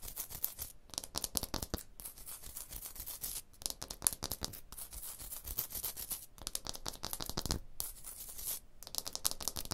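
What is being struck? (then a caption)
Limestone block wall. Long blue nails scratch fast across a rough, solid limestone block wall, making dense, bright, gritty rasping strokes in quick bursts separated by brief pauses. The scratching stays dry and close, with each stroke dying out instantly.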